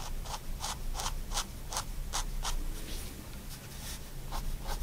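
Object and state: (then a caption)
Fine pen strokes on paper. A 0.1mm pigment liner pen tip makes short contour strokes on a white paper sketchbook sheet. The strokes come as a quick, uneven run of soft, bright scratchy bursts over a low background rumble.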